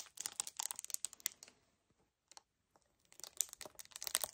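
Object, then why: Paperboard kefir carton. A hollow 1 L white paperboard kefir carton is gripped, scratched with fingernails and tapped. Bright, crisp, dry clicks and crinkly scratches come in quick bursts. They fade to near silence in the middle, with a few isolated taps, then pick up again densely at the end.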